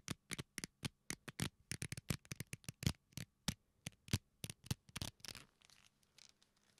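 A leather belt is bent and squeezed with both hands close to the mic, pulled taut across the knuckles. The leather gives a rapid series of short, dry creaks and rubs, each a sharp, broadband crackle with a low thump beneath. The bursts fade into softer, scattered rustling near the end.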